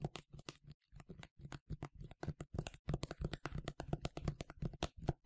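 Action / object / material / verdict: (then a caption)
tap / plastic spray bottle / plastic / none. A medium yellow plastic sunscreen spray bottle, hollow and partly filled, is held in both hands and tapped on the front with fingernails. Heard is a fast, uneven run of short, dry taps, each with a low hollow thump and a bright click on top. The taps die away almost instantly.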